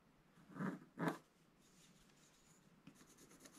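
A wooden-handled scratch stylus scratches away the coating of a flat, thin, black scratch-art paper page in a book, held down by one hand, to reveal the colours beneath. Two loud, dry, papery scrape strokes come in quick succession. Softer, lighter scratching ticks follow over a quiet background.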